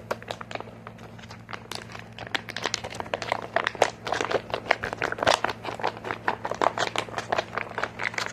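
A medium green plastic squeeze tube with a white cap, hollow and flexible, is held, squeezed and tapped with short fingernails. Many quick, dry crinkling clicks and taps come in a dense irregular stream, starting softer and growing louder and more rhythmic, over a steady low hum.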